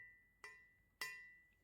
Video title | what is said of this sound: 双立人菜刀测评：贵有贵的道理？教你选出高性价比好刀！ | The knife has a crisp sound. The sound of this turkey knife is a little bit better than that of the big stupid knife.